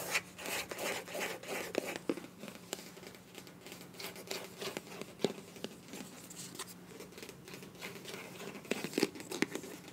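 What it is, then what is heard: Soft plastic squeeze tube. Long nails tap and scratch along a slim pink translucent lip gloss tube made of soft, hollow, partly filled plastic. The result is quiet, irregular, crisp taps mixed with scratchy, crinkly rubbing that sounds bright and dry, over a faint steady low hum.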